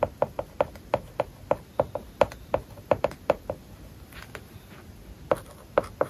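A plastic stylus writes small characters on an iPad lying flat, its glass screen covered with a matte plastic paper-like film. It makes a quick series of short, dry taps with a clicky midrange tone, separated by faint scratching strokes across the surface. After a quieter stretch of light scratching, a few more taps close the clip.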